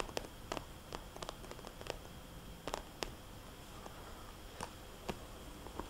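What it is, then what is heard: Plastic cosmetics bag. Long nails tap and trace across a small red polka-dot glossy plastic cosmetics bag with a paper price tag. Thirteen quiet, sharp, dry clicks stand out over a faint rustling scrape between them.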